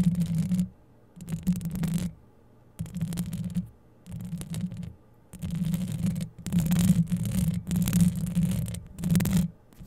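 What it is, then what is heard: Metal mesh microphone grille scratched. Long yellow acrylic nails scratch both sides of the hollow metal mesh grille of a Blue Yeti-style microphone, with a chain bracelet on the wrist. The result is bursts of close, muffled, rumbling scratching, heavy in the low end around 170 Hz, separated by short silences and growing denser and louder toward the end.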